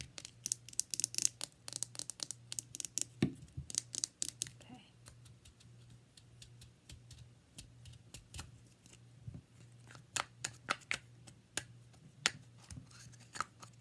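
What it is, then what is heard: Plastic deodorant stick. A hand-sized, hollow plastic Dove deodorant stick with a light blue cap is tapped and scratched with long red-painted nails. Sharp, bright clicks and scratches come in irregular bursts over a steady low hum, dense at first, sparser in the middle, then picking up again.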